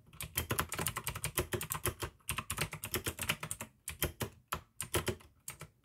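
Fast two-handed fingertip typing on a full-size pink AUKEY mechanical keyboard with plastic keycaps and clicky blue switches. Rapid, bright, crisp clicks come in dense bursts over a low, hollow thud, with short pauses between runs. Each keystroke is dry and dies away almost instantly.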